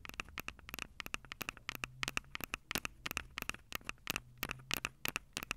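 Long purple acrylic nails tap rapidly on the two metal-grilled microphone capsules of a Tascam DR-05 handheld recorder with a plastic body. About 29 sharp, dry clicks are heard in quick, uneven bursts, bright and clicky with a tone near 2.8 kHz and almost no ring. A faint low hum sits underneath.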